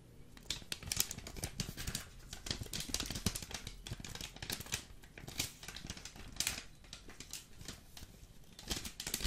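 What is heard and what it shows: Fingers rapidly tap and scratch the top and sides of a full Jacobs vacuum-packed coffee brick in green foil, close to the mic. Dense, crisp clicks and bright crinkly scratches sit over soft low thumps from the packed brick, with each tap dying away almost instantly.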